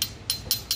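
A metal CO2 gas cartridge that powers an F1 in Schools model car is tapped lightly four times. The taps give short, bright metallic clinks with a high ring that fades quickly.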